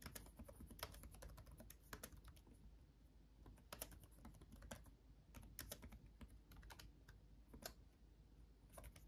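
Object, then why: Plastic laptop keyboard. Both hands type fast with their fingertips on a backlit laptop keyboard with plastic chiclet keys. Rapid, uneven bursts of short, bright clicking keystrokes stop dead with no ring, over a steady low hum.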